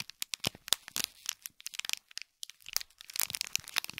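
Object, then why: Small gift box wrapped in foil and plastic film. Fingertips and nails scratch and crinkle a small gold foil-wrapped gift box in plastic film. It makes a quick, dense run of sharp, bright crackles and crinkles with almost no low end, pausing briefly just past the midpoint before resuming.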